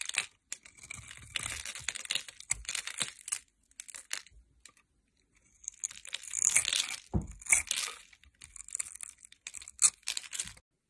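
A solid bar of white soap held in the hand is scraped and cut across its surface with a metal utility blade, producing cubes and curled shavings. Bright, crisp scraping and crackling strokes come in bursts, with a quiet pause in the middle before louder, denser cuts resume.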